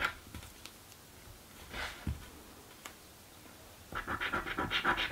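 A coin scratches the latex coating off a blue paper scratch lottery ticket held flat. A few faint, isolated scrapes and a soft swish come first, then from about four seconds the coin rasps quickly and steadily in a run of dry, bright strokes that grow louder to the end.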